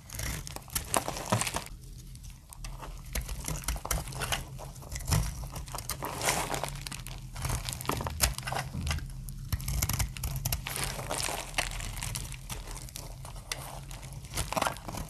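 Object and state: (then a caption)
Dry soap bar being shaved with a blade. A hand-held, palm-sized, solid translucent orange-amber dry soap bar is cut repeatedly with a metal utility-knife blade, shaving thin plates off that pile up as crispy flakes. Dense, crisp crackling and crunching scrapes run continuously over a low background hum.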